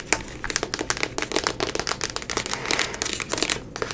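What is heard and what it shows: A grey Pusheen cat vinyl figure, about hand-sized and likely hollow, is held up in front of the camera and tapped and scratched quickly and aggressively with long nails. A rapid, uneven run of short, bright plastic clicks and scratchy crinkling, each dying away almost at once, carries on steadily throughout.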